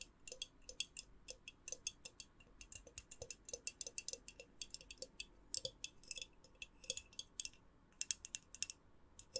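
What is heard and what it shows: Long nails tap the white lid and the clear glass side of a small hollow glass candle jar with a lit candle inside, held in one hand. A rapid, irregular series of sharp, bright clicks is heard, each dying away almost instantly, with a faint mid-pitched tone under some taps and very little low end.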